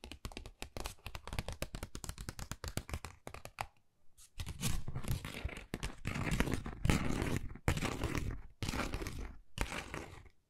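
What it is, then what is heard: Textured cardboard folder. Long nails scratch a flat, thin, hollow, pale pink pebble-textured cardboard Dior folder. Quick, dense, crackly taps come first, then a short pause. After that, longer rasping scrapes sound in separate bursts with a low, papery body.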